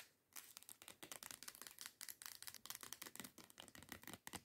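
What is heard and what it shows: Long nails scratch and tap rapidly near the cap of a teal plastic body scrub bottle lying on its side. After a brief quiet start, a dense run of short, bright, crackly scratches and clicks follows with very little low end.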